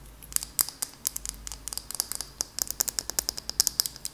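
Long acrylic nails tap and scratch a small glass candle jar with a purple label and a lid, holding solid wax. About 27 sharp, bright clicks and taps come in an irregular, quick rhythm, with a faint high glassy ring over soft scratching in between. Each tap dies away almost at once.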